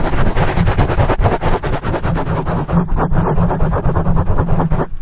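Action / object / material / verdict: scrape / foam microphone windscreen / foam / none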